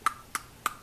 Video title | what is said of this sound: Zastava EZ 9 Compact (HD Review) | hear that that just sounds like plastic